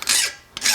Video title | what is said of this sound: Dirty Smith ep 31 Part 2: Forging and Heat treating a cold chisel | It's taking away more material. Even on the flat, you hear that different tone.